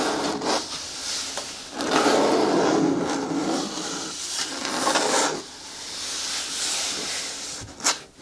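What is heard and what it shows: Long nails scratch and rub slowly along the side wall of a hollow, hard green plastic bin with a lid and handle. The result is a dry, raspy scraping in long, swelling strokes, with broadband hiss that reaches up into bright highs and little low end. A few short, sharp scratches stand out between the strokes.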